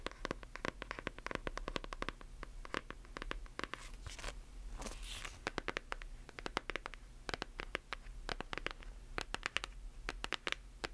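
A solid hardcover book with a glossy paper dust jacket is tapped and scratched on its cover and spine with long acrylic nails. Rapid, dense clicking taps are mixed with brief scratchy swipes over a faint low hum.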